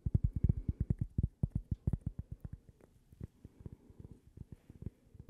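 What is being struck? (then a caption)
Small thin cork coaster. Long painted fingernails tap and scratch a small, thin, solid toast-shaped cork coaster held in one hand. Around thirty quick, dull, low taps come in an uneven, rapid rhythm with almost no ring; they are loudest at first and grow softer toward the end, with faint scratching in between.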